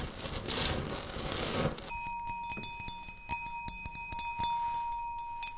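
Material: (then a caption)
Ceramic. Fingertips and nails of both hands scratch and tap a flat, solid bathroom wall of small textured beige ceramic tiles beside a round mirror, with the microphone held close to the wall. A dense, hissy scratching runs for about two seconds, then gives way to a string of sharp, bright, short clicking taps over a faint steady tone.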